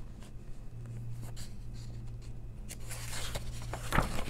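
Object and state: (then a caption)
Paper coloring book, pages scratched and turned. Long nails slide and scratch softly across the paper pages of an open coloring book, then turn a page with a brighter rustle in the last second and a crisp flip near the end. A steady low hum sits under the quiet scratching throughout.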